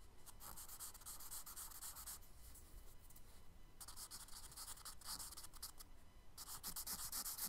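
A charcoal stick held in the fingers scratches and rubs short strokes across the flat brown kraft paper page of a spiral sketchbook. Quick bursts of bright, dry scratching come in clusters, with quieter gaps near the middle and just before the end, over a faint low rumble.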